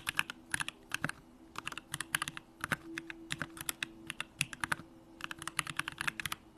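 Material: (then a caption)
Plastic. A Bakeneko65 65% mechanical keyboard with an aluminum hollow case, Durock lavender switches and pink plastic keycaps is typed on continuously with fingertips. About 38 short, bright, crisp key clacks come in quick bursts and die away almost instantly, over a faint steady low hum.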